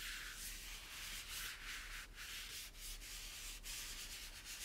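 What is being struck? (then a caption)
Plastic toy tower. A microfiber cloth is rubbed firmly over the white plastic base and teal spiral parts of a hollow plastic toy tower. The result is a continuous, bright, hissy scrubbing that swells and eases with the strokes, with a few brief dips between passes and a faint low hum underneath.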